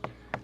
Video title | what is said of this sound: dB TEST - Live Drums!!!! Part 11 | these are sand filled so they're super chunky if I knock on that you can hear very dense